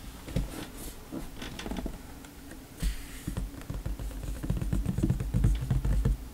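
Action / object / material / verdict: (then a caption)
tap / cardboard box / cardboard / none. Fingertips tap and patter on the lid of a large, hollow, printed white cardboard hair dryer box lying flat. The taps land in irregular, quickening flurries of short, dull, low thumps with a hollow body. Each thump dies away almost at once over a faint, steady bright hiss.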